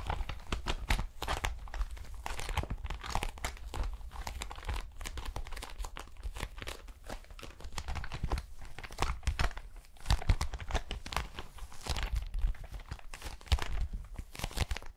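A small, empty metallic plastic foil pouch is crinkled and scratched with long nails. Dense, rapid crackling and sharp crinkling bursts continue for the whole clip over a heavy low rumble, with brief bright snaps that die away almost instantly.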